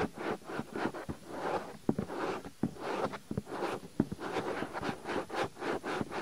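Fingertips quickly rub and scratch the surface of a soft white silicone ear on a binaural microphone. The result is a steady run of soft, brushy rubbing and scratching strokes with short dull taps mixed in, mostly in the low-mid range with little high content.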